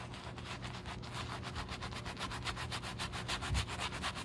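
Foam is scrubbed over the heel and back of a black leather Gucci shoe with a wooden-handled horsehair brush. Quick, steady back-and-forth strokes make soft, bright bristly swishes over a low, steady hum.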